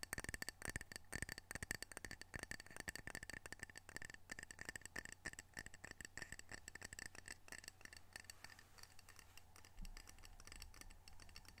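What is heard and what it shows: A small square glazed ceramic coaster printed "Edmonds Washington," solid and held in the hands, is tapped quickly with long fingernails. The result is a rapid, steady stream of sharp, dry clicks with a faint glassy ping near 1.8 kHz over a low steady hum. The taps grow softer and denser toward the end.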